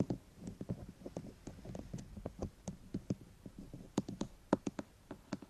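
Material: Plastic.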